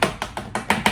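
Six dry, woody taps on the crisp, fully roasted pork-skin cushion of a lechona ring out like a wood block. Each hit has a hollow knock with a bright crackle and dies away almost instantly. The clicky, hollow sound shows the skin is done and crisp.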